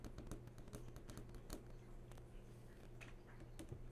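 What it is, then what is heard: Flat-screen TV panel tapped with fingernails. Long fingernails tap and drag across the hard screen of a large flat-screen TV that is switched on. A quick, uneven series of sharp, bright clicks and short scratchy swipes sits over a steady low hum, with each tap dying away almost at once.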